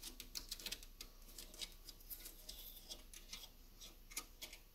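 Fingernails tap and scratch on the ends of the solid driftwood sticks of a wall sculpture decoration. A quiet, irregular run of bright, dry clicks with very short ring mixes with light scratching over a faint low rumble.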